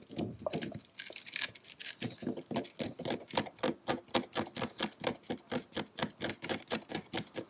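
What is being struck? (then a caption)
Small plastic pig figurine on a gritty surface. Fingertips and nails scratch and tap around a tiny solid pale-pink plastic pig figurine, a Spanish Christmas decoration, resting on gritty concrete. A bright, rough scratching opens the clip, then gives way to a steady run of short, dry, clicky taps at about four per second, each with a light hollow tone near 520 Hz.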